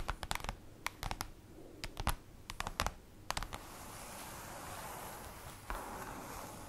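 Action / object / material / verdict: tap / printed cardboard folder / cardboard / none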